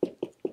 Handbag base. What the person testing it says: it is very rigid, as you can hear